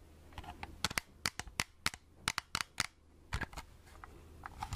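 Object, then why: Plastic compact film camera. Long red-painted nails tap a small, hollow plastic Agfa pocket film camera held in both hands, making quick, dry, bright clicks in uneven bursts. Each tap is sharp and dies almost instantly, with a faint low hum beneath.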